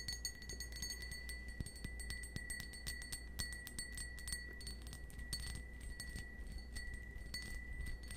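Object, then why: Cut crystal stemmed wine glass. Fingernails tap rapidly on a small, hollow, empty cut-crystal stemmed wine glass held in the hand, producing a dense stream of quick, bright clinks. A steady high ringing tone sits above a low background hum.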